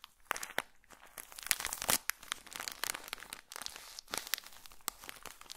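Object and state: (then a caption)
Plastic-wrapped pocket tissue pack. A small, colorful pocket tissue packet in a plastic wrapper is squeezed and crinkled with fingertips close to the microphone. Irregular bursts of bright, crackling plastic crinkle come in quick clusters with short quiet gaps between them. The sound has almost no low end and dies away almost instantly.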